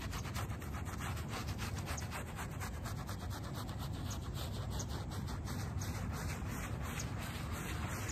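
A small soapy shag-pile fabric doormat is scrubbed in strokes with a small wooden-backed bristle brush. A steady, continuous wet rubbing and scrubbing sound with a low, dense body and faint bright bristle scratches runs throughout at an even level.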